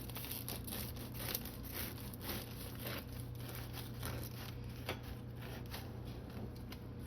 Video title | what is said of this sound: North African Harissa Butter Bean Dish w/ Homemade Artisan Bread — NON VEGAN 🥑 | it's crispy on the outside and soft on the inside